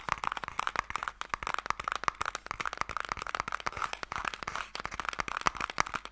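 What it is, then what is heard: Hollow wooden box. Fingernails and fingertips tap rapidly across the face and ends of a closed, hollow wooden Mikado box, giving a dense run of about 30 dry, short clicks and knocks. Each tap is crisp with almost no ring, centred around a mid pitch near 1.2 kHz, with little low end and a light bright edge.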